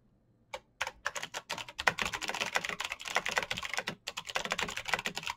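Fingertips type quickly on a black Razer BlackWidow mechanical keyboard with plastic keycaps on clicky green switches. After a brief silence, a dense, rapid run of sharp, bright clicks follows, each keystroke snapping off almost instantly with a crisp peak around 2 kHz and almost no low end.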